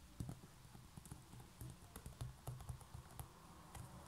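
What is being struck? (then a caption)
Coiled woven straw basket lid. Long nails tap and lightly scratch along the coils of a large, hollow, coiled woven straw basket lid. The result is a quiet, irregular series of soft, hollow, low thumping taps with faint bright scratchy edges, each fading quickly.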